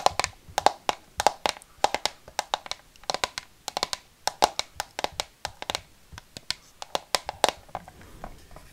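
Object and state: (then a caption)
Clear plastic display case. Long fingernails tap rapidly on the clear side panels of a small, hollow plastic display box with a dark frame, held in one hand with a Dobby figurine inside, the box ending up close to the microphone. Dozens of sharp, dry clicks with a hollow plastic tone come in an uneven, quick rhythm. Each tap dies away almost instantly, with no low end.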